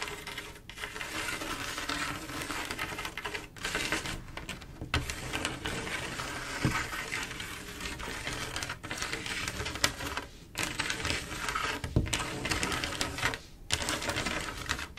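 Long acrylic nails on both hands scratch and tap across a flat panel of silver mirror-glass mosaic tiles set in grout. The result is a dense, bright, crackling texture of rapid clicks and scrapes, broken by a few brief pauses and occasional sharper taps.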